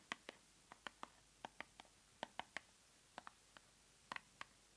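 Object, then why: Small paperboard box. Long nails tap and scratch a small, hollow white paperboard cosmetic box with the product inside, held in the hands above an open subscription box. About sixteen quiet, crisp, bright clicks come in irregular clusters, each dying away almost instantly, with near-silence between them.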